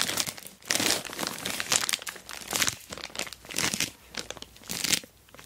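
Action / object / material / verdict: scrape / plastic mailer bag over a box / plastic / none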